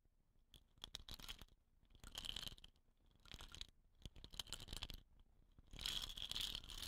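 Long nails tap and scratch the painted surface of a hollow, dot-painted wooden rain stick resting on dark cloth. Quiet, bright scratching comes in bursts, broken by sharp little taps and brief pauses, with a faint ringing tone near 3.3 kHz. The bursts grow fuller and louder toward the end.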